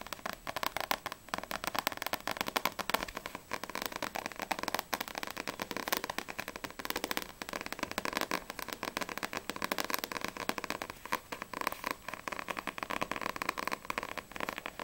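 Long acrylic nails fast-tap the glossy card front cover of a single Blue Exorcist vol. 1 paperback manga with a solid paper block. The result is a steady, dense stream of dry, crisp clicks and ticks, centered around 1 kHz with bright upper edges and almost no low end. Each tap cuts off instantly with no ring.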